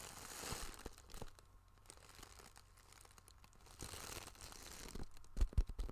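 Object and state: Plastic zip pouch crinkled and scratched.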